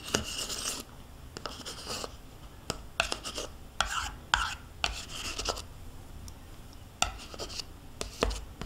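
A metal spoon scrapes the inside of a small, hollow plastic yogurt cup held in the hand and partly full of yogurt. Short, bright, gritty scrapes and taps come in bursts, some with a hollow squeaky tone near 1.5 kHz, separated by quiet pauses.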